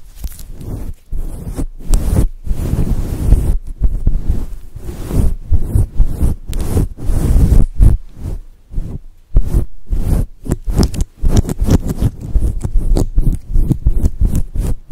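Long acrylic nails scratch and rub a soft, fluffy grey and white synthetic fur cover over a microphone. The result is a run of deep, muffled, thumping rustles in quick bursts with short gaps, almost entirely low rumble with nothing bright.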